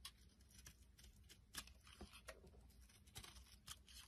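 A small, solid, round lavender soap puck is held in the hand and shaved into flakes with a metal utility blade. Quiet, crisp scraping strokes come in short, bright bursts with a dry, papery crackle and no ringing, over a low background rumble.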